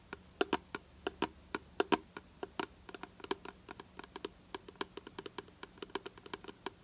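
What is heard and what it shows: Long nails tap rapidly on the side of a hollow purple plastic hair product bottle held in the hand. About 39 quick, dry clicks come in uneven bursts, each a sharp hollow tick with a slight plastic tone near 950 Hz and almost no ring, over a faint steady background hiss.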